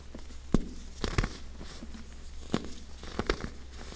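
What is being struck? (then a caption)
Compressed baking soda blocks. Fingertips and long painted nails of both hands press, crush and rub several molded, cup-shaped blocks of dyed pink compacted baking soda powder resting solid on a table. Short, dry, irregular crunches and snaps stand out over a soft, continuous gritty rustle of crumbling. The blocks break into crumbling chunks and loose powder.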